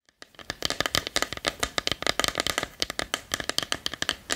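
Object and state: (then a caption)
Small wooden box tapped and scratched with fingernails. Long nails tap and scratch the front and lid of a small, hollow, reddish-brown wooden treasure chest with a metal latch, held in both hands. About two dozen quick, bright, dry taps follow one another over a faint scratchy rustle, each dying away almost at once.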